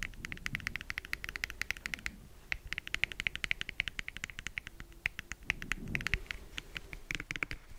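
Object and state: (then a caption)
Plastic jar. A medium orange jar, probably plastic, with a black lid and a printed label with a barcode, closed, is held over a fluffy microphone and tapped and scratched with fingertips and nails while rings are worn on the fingers. Dozens of quick, bright, clicky taps come in rapid bursts with very short decay, mixed with softer low rustling scratches. There is a brief lull near the two-second mark.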